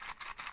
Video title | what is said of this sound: Mains and goals for Nordic championship 2018 | if you shake it, you hear some pins inside